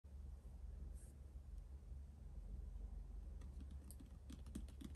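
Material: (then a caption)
Cardboard. Fingertips and short nails tap a closed, hollow, medium printed cardboard subscription box lying flat on a wooden table. The taps come as many sharp, quick clicks that sound like typing, with the later ones brighter, over a steady low hum.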